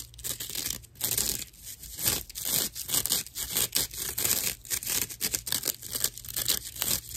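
Long nails scratch a dry slab of natural loofah sponge with a hollow cross-section. The result is a quick series of bright, raspy, crinkly scratching strokes that rise and fall in loudness. A faint steady low hum sits underneath.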